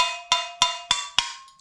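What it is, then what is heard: Ceramic kiln cookie coming loose, tone changed. A hammer taps four times on a ceramic kiln cookie stuck to a pottery piece, each tap a sharp, bright click with a high ringing tone that fades between strikes. The tone changes after several taps because the kiln cookie has loosened and is coming away from the piece.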